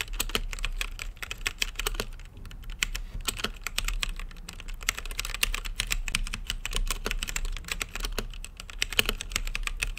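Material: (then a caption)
Plastic, acrylic. Fingertips type continuously on a plastic mechanical keyboard with plastic keycaps on a translucent acrylic case. The result is a rapid, steady stream of short, dry clicks with a bright clack around 3 kHz, each dying away almost instantly over a low background rumble.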